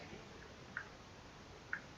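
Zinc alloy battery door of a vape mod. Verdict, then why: Loose. The zinc-alloy battery door of a Wismec Reuleaux vape mod is pushed up and down with the fingers, giving two small, sharp ticking rattles in a quiet background. The door has a tiny bit of up-and-down play but no side-to-side movement.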